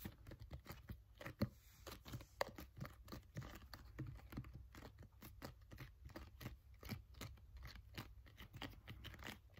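A filled green plastic sunscreen bottle is gripped, tapped and scratched with fingernails. A quiet, steady run of quick, dry taps and scratchy clicks sits over a low, muffled rumble, with a couple of sharper knocks standing out early on.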